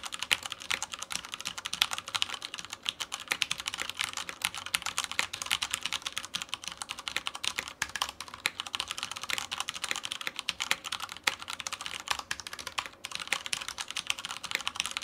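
A black Typhoon Mars Pro tenkeyless mechanical keyboard with Cherry brown switches and plastic keycaps, resting on a white desk beside a mic, is typed on with the fingertips of both hands in continuous key presses. The result is a steady, rapid stream of short, bright plastic clacks with no low end, each keystroke dying away almost instantly.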